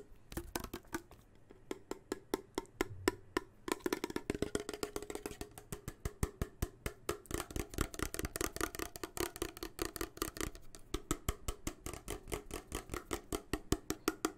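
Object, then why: Steel soup can. A closed, full steel soup can with a blue and yellow label, held upright, is tapped on its metal end with fingertips. It gives a long, quick run of short, dull knocks with a low, hollow tone and almost no ring.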